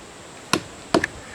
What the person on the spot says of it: it gets really dead sounding up there